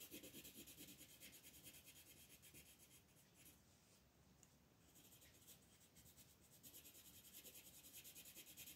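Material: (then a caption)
Paper. A green wooden colored pencil is rubbed in quick strokes across a flat, thin paper coloring book page resting on a table, shading in leaves. The quiet, steady, bright scratchy rasp pulses with each fast back-and-forth stroke. It softens for a few seconds in the middle, then returns to full strength.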